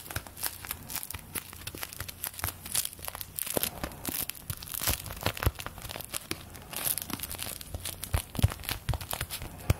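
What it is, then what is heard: Paper play money crinkled. Thin paper play-money bills are crinkled, pulled and flicked with the fingers of both hands, which have long nails. The result is a continuous run of dry, crackly crinkling and tearing-like rustles, with sharp, bright flicks and snaps scattered throughout. A faint, steady low hum sits underneath.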